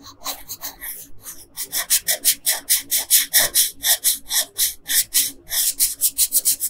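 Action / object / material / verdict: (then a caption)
scrape / colored pencil on a paper sheet / paper / none. A yellow colored pencil, held by a hand with long pink nails, scratches and rubs back and forth across a flat paper coloring page. The result is a steady run of bright, raspy strokes with quick pulses and almost no low end.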